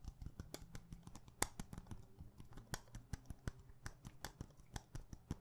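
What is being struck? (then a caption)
Small glass perfume bottle with glass stopper. A small clear glass perfume bottle with a glass stopper, held in the hand, is tapped rapidly with long painted nails. The result is a fast, uneven stream of sharp, bright clicks with very little ring, some with a faint glassy tone near 830 Hz, over a low steady hum.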